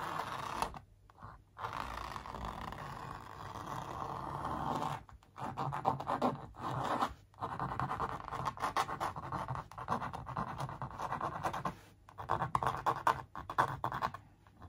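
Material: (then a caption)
Canvas. Long nails scratch-trace a sneaker outline across a large printed canvas stretched on a wooden frame, with a hollow back behind it. Dry, raspy scratching strokes centered in the midrange run in bursts of several seconds, separated by brief silent pauses. There is little low rumble and almost no bright top.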